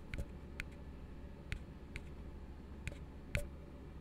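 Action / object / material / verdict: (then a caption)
tap / upturned plastic cup / plastic / none. An empty, hollow blue plastic tumbler is held upside down and tapped on its base with fingertips, giving six short, separate, hollow taps with a bright click on top. Each tap fades quickly over a steady low hum.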